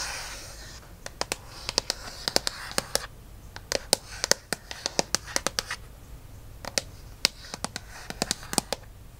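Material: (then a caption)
Aluminum. Fingertips and nails tap and scratch quickly on the aluminum back of an iPad lying face down. The sound is a brisk run of sharp, bright clicks that die away almost instantly. A soft, hissy scratching noise sits between and under them, strongest at the very start.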